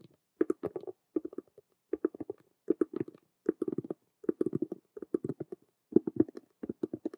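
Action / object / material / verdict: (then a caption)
tap / cube-shaped handbag with faux-leather frame and vinyl panel / vinyl / none. Long acrylic nails rapidly tap and scratch the side of a large hollow Rubik's cube handbag, which has a black patent faux-leather frame around a clear holographic vinyl window and a metal chain hanging in front. Short, dry clicks and scuffs come in quick bursts separated by brief pauses. The sound is hollow and mid-pitched and dies away almost instantly.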